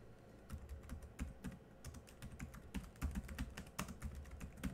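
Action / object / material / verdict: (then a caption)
tap / plastic laptop keyboard keys / plastic / none. Fingertips type on the black plastic chiclet keys of a silver laptop. The result is a steady run of quick, soft key taps, each a short dull thump with a faint bright click on top that dies away almost at once.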